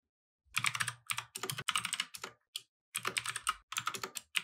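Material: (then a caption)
Plastic. A compact mechanical keyboard with plastic keycaps, resting on a wooden desk, is typed on continuously with the fingertips of both hands. Fast, bright, clacky keystrokes come in dense bursts separated by brief pauses, with each click dying away almost instantly and very little low end.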